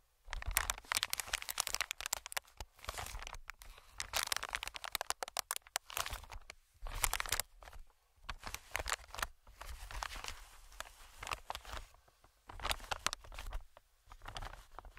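Fingertips tap and scratch a medium green inflated plastic-film air cushion, producing bright, crinkly scratching and rustling in bursts. Soft low thumps from the taps sit under the crackle, with brief quiet pauses between bursts.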